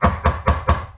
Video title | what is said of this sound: Dirtbike Wheel Bearing Replacement - It's NOT HARD! | Hear that high pitch? That's seated.